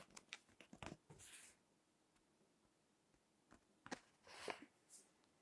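Fingertips with long nails turn and crinkle the text pages of a crinkled paper magazine lying on a table. A run of sharp, bright crackles and taps leads into a hissing rustle as a page turns, then a quiet pause before more crisp snaps and a second swishing page turn. The sound is dry and close, with very little low end.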